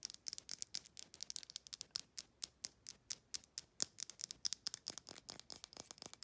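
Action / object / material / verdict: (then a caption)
tap / small amber glass bottle with paper label / glass / none. Long nails rapidly tap the glass neck, the paper label and the screw threads of a small amber glass supplement bottle. About 41 quick, sharp taps come in a fast, uneven rhythm. Each tap is a bright, dry click with almost no low end, and it dies away almost at once.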